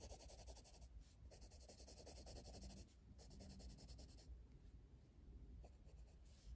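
A hand-held blue colored pencil rubs back and forth across the lower left area of a flat paper page in an open coloring book, shading it in. Quiet, rhythmic scratchy strokes carry a bright papery hiss over a steady low rumble, with brief pauses between bursts of shading.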